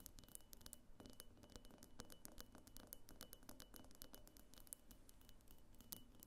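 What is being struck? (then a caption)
Glass vase. A medium, hollow pink glass diffuser vase on a clear glass base, standing on a table, is tapped and lightly scratched with long nails on its lower sides. Rapid, quiet, bright clicks and scrapes come in a dense, uneven stream, with a faint steady high tone running underneath.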